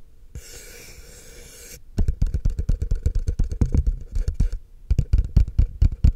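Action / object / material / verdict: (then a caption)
tap / plastic cup / plastic / none. A tall, empty, hollow, frosted translucent plastic cup is held upside down in one hand while fingertips and short nails tap and scratch its side. It opens with a soft, bright scratching hiss for under two seconds, then shifts to quick, uneven runs of dull, hollow, low taps that stop briefly before resuming. Each tap dies out almost at once.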